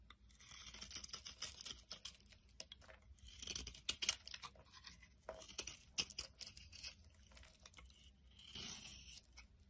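A box-cutter blade shaves thin flakes from a solid white soap core held in the hand. Soft, bright scraping strokes crackle and crinkle in quick, uneven bursts, with a low, faint hum underneath throughout.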